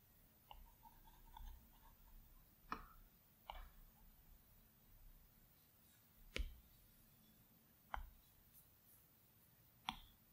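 A plastic Apple Pencil tip taps and clicks on the large, flat glass screen of an iPad Pro. Seven short, dry clicks sit spread over a quiet, low background hum, each dying away almost at once.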